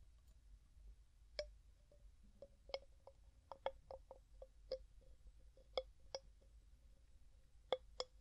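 Fingers lift, set down, twist and tap the gold metal screw lid of a medium, clear glass jar that is hollow and mostly empty. The result is a quiet series of sharp, short clicks and clinks, each with a faint ringing tone around 500 Hz and bright highs, over a low background rumble.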